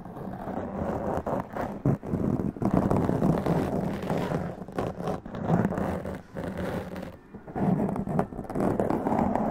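Long press-on nails scratch intensely across a black foam windscreen on a large condenser microphone. The result is a dense, continuous scratchy rustle, weighted low to mid with a steady low tone near 180 Hz. It comes in long bursts with brief dips between strokes.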